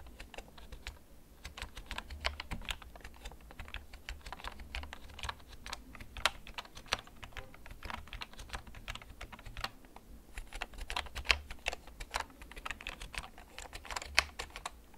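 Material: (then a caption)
Plastic. A hollow, backlit plastic gaming computer keyboard is held up in both hands while fingertips slowly tap its keys. Each tap is a short, bright, clicky plastic tick that dies away almost at once, with a low hum underneath. The taps come steadily and unevenly for about 15 seconds.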